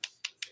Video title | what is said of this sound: The Daily Nail: Fairy Glamor Dip Nails w/Chrome #dippowdernails #diynails #nailart | okay so if you clack tap on your nails like this and you hear that clacking that means your nails are ready be filed